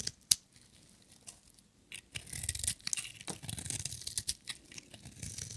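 A metal utility knife blade scrapes and shaves a solid, dry orange bar of soap with white stripes. A sharp click opens the clip, followed by a quiet pause, then a run of bright, crisp scraping strokes with a dry, papery rasp. The strokes come in quick bursts and cut off with almost no ring.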